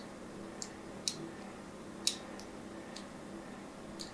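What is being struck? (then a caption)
Solid bar soap scratched with a thin metal tool. A solid pink bar of soap, held in a hand with long nails, is scored again and again with a thin metal tool. About six short, bright scratching ticks sound at irregular intervals, each dying away almost at once, over a quiet, steady low hum.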